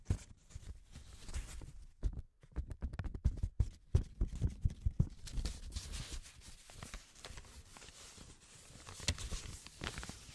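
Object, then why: Paper banknote. Black-gloved hands fold, rub and crinkle a yellow paper banknote. Soft, dry crackles and rustles sit over low, muffled handling bumps, with a busier run of sharp crinkles in the middle. It settles into quieter, steady rubbing toward the end.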